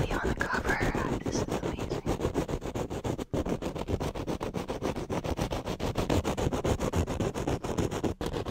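Flat fingers rub and scratch across the top of a black foam windscreen on a studio microphone, keeping the same hand position throughout. The result is a steady stream of rapid, closely spaced, muffled scratching strokes, heavy in low rumble with little brightness. It carries on for the whole clip with only brief pauses.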